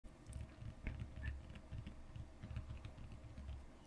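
Long green-painted fingernails tap on and around a closed, shrink-wrapped Pokémon Vivid Voltage Elite Trainer Box, a large printed cardboard box lying flat on a card play mat. The quiet, dull, low taps patter in a steady, uneven stream and die away almost instantly.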